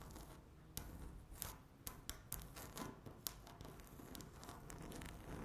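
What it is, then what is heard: Laminate tabletop scratched and tapped with fingernails. Long natural nails scratch and tap across a flat, solid speckled laminate tabletop. Quiet, dry scratching is punctuated by sharp, bright clicks that stop almost instantly with no ring, over a low rumbling background.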